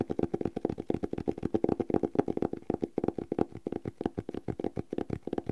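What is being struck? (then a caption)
Cloth-covered hardcover notebook. Fingertips and nails tap and scratch the cloth cover of a red cloth-bound hardcover notebook with thick paper pages, held upright. About 39 quick, dull, muffled taps come in a steady, fast stream, each dying away almost at once. They have a soft midrange knock centred near 380 Hz and almost no bright content.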